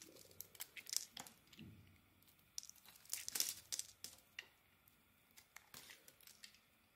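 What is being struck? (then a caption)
Bar of soap cut with a metal blade. An oval, pale yellow bar of soap is shaved into curls with a metal blade, producing a series of dry, crinkly scraping and crackling strokes. The sound is bright and crisp with almost no low end, and each stroke fades quickly into quiet pauses.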